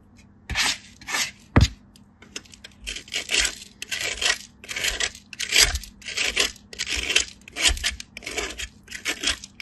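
A solid white block of bar soap is rubbed back and forth across a small steel grater, leaving a powdery pile of shavings. Repeated bright, rasping scrapes come in quick strokes, with a sharp tap near the start.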